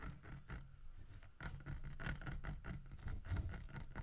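Fingertips and nails scratch and tap the textured carved fur of a large, solid-wood carved bear figurine holding a painted fish in its mouth, resting on a wooden table. The result is a quiet, irregular patter of soft, dull taps and rough scratching, mostly low in tone, with brief bright edges on each stroke.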